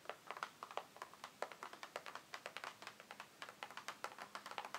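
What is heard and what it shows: Fingertips and long nails tap rapidly on the sides and edges of a closed, hollow, printed cardboard advent calendar box resting on a wooden table. The taps are quick and dry and barely ring, with a papery, midrange knock.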